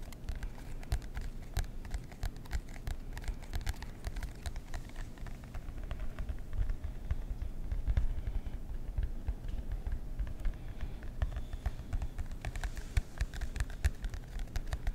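Fingertips and nails tap rapidly on the cardboard cover of a marbled composition notebook held in both hands. The result is a dense, steady patter of soft, dry, low thuds, with brief bright clicks from the nails that die away almost instantly.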